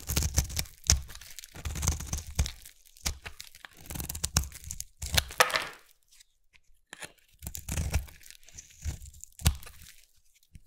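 A small metal blade scrapes a solid red bar of soap, already partly carved and held in the fingertips, shaving off curls. Bursts of crisp, crunchy scraping strokes come and go with brief pauses between them, each carrying a dull low thud beneath a bright, crackling grain.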